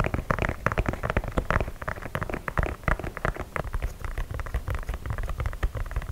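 Fingernails tap and scratch the perforated leather toe cap of an empty white leather sneaker held close to the mic. The result is a steady stream of rapid, dry, close-up taps and scratchy crackles with a heavy low thump and very little high end. Each tap dies away almost instantly.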